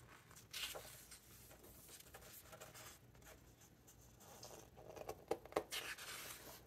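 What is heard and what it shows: A hand strokes the glossy paper pages of a large open hardcover book flat and turns them, making soft, quiet brushing and rustling. Brighter swishes of a page turning come early and again near the end, with a few sharper paper taps just before the final turn.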